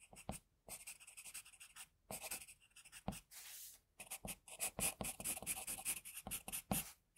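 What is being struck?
Pencil on paper drawing sheet.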